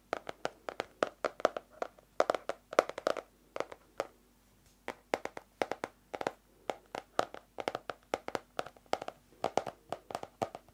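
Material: Cardboard.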